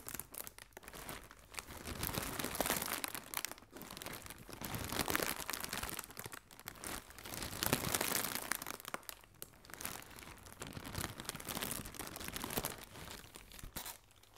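Hands with long nails squeeze and crinkle hollow, inflated blue plastic air cushion packing film. The result is a continuous, irregular stream of bright crinkling and crackling with brief crunchy bursts, swelling and fading in waves over the clip.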